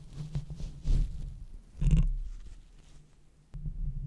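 Long red-painted fingernails of both hands scratch and tap the large, hollow metal mesh grille of a silver Blue Yeti microphone. The result is deep, muffled thumps and scratchy rustling with a low hum around 160 Hz and almost no high end. Each tap dies away quickly.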